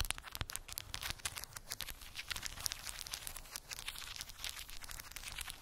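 Long pink acrylic nails tap and scratch across a small square cork board covered in glued round wooden beads. The result is a dense, continuous stream of quick, dry, bright clicks and crackly scraping, with each tick dying away instantly.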